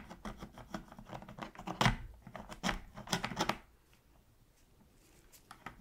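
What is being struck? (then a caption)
Hard-plastic game controller scraped with a metal pick. A pointed metal tool, held in gloved hands, scrapes the crevice between the shoulder buttons of a hollow black hard-plastic PS3 controller lying on its side on a dark surface. Rapid dry scratches and clicks build to sharper, brighter scraping bursts in the middle. It then falls to near silence, with a few faint ticks at the end.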